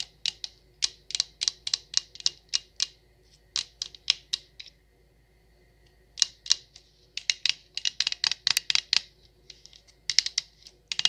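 Long acrylic nails tap an empty, hollow stemless wine glass with a printed logo label, making 33 quick, bright clicks. Each tap is high-pitched and dies out almost at once, and the taps come in bursty runs with short pauses between them.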